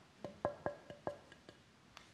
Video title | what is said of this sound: Violin making workshop 1080 | you can hear it resonating